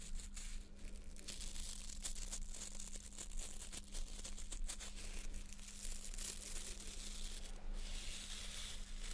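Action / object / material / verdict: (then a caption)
scrape / plastic nail brush with stiff plastic bristles / plastic / none. Long nails scratch the stiff plastic bristles of a small white plastic nail brush held in front of a face, making a continuous dense, crackling, bright scratching. A steady low hum and rumble sit underneath throughout.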